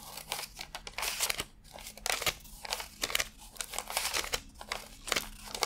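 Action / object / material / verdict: flick / stack of paper banknotes / cotton paper / none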